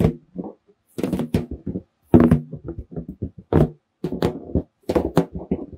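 Fingertips tap and drum on the surface of a large, hollow, air-filled red latex balloon held in both hands. Bursts of soft, hollow, low thumps come in quick clusters separated by brief pauses. Each tap carries a short, resonant bounce.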